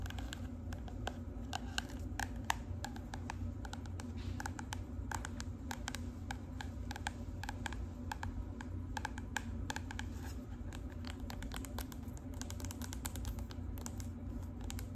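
Long acrylic nails tap rapidly on the cover of a marbled cardboard composition notebook, which is then turned edge-on so its spine edge can be tapped. Quick, dry clicking taps with almost no ring come in a dense, steady stream over a low, constant background hum.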